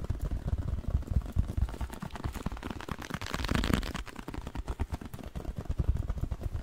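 A small, hollow, printed blue cardboard box with a colored side is held close to the microphone and tapped and scratched with fingernails. Quick, dense, low hollow thuds and clatter run throughout, with a brighter, rougher scratching swell near the middle before the tapping resumes.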